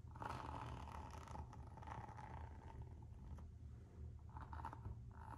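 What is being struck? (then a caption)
Rubber-soled coated-canvas slide sandal. Long nails scratch the textured rubber sole of a Gucci slide sandal with a coated-canvas strap. The result is soft, raspy scratching in repeated bursts, each with a steady midrange tone, over a constant low rumble.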